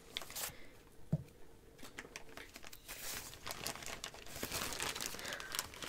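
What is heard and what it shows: A medium-sized clear plastic bag of marshmallows with red print, full of soft marshmallows, is held in one hand while the fingers of the other hand grab, crinkle and reach into it. The result is a steady run of soft, bright crinkling and rustling, with quick crackly bursts that come and go and a faint low rumble underneath.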